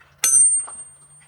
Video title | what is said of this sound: The Montana I've Been Looking For! Ringing Rocks Trail | It does just keep ringing.